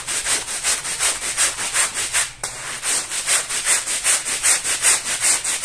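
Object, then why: Woven fabric rug scrubbed with a stiff plastic-bristle brush. A long-handled plastic-bristle brush scrubs back and forth over a small, muddy floral woven rug that is wet and foamy on a tile floor. Steady, rhythmic, bright scratchy strokes come at about two and a half per second, with a brief dip in the middle before the scrubbing resumes.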